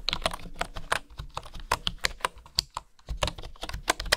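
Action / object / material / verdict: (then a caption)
tap / bamboo wooden keyboard / bamboo / none. Fingertips and nails tap the keys of a bamboo wooden keyboard, typed on with both hands up close. Short, sharp clicks with bright, hollow tops and very quick decay follow one another at an uneven typing pace, with a few louder strikes and a brief lull just before the three-second mark.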